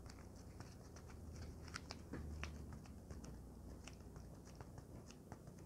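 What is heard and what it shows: A folded, soft and light white polyethylene foam packing sheet is held in one hand and scratched and tapped with long nails. Quiet, crisp clicks and brief scratchy ticks recur irregularly throughout, each dying away almost at once over a steady low rumble.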